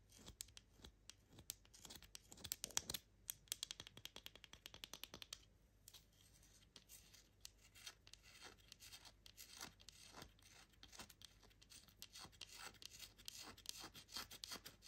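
An unwrapped, palm-sized, solid, dry orange-and-white striped Fa bar soap is held in one hand and scratched across its surface with long manicured nails, leaving visible scratch marks. Quick, bright, crisp scratching and scraping strokes come in dense bursts with little low end. A brief quieter pause falls near the middle before the scratching resumes.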